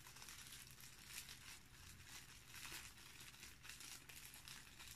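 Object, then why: Thin cellophane plastic bag. A small, thin, empty, clear cellophane plastic bag is held over a dark cloth while the fingertips of both hands crumple, pinch and rub it, first flat and then squeezed into a wad. The result is a steady, bright, crackly crinkling that runs continuously with small surges over a faint low rumble.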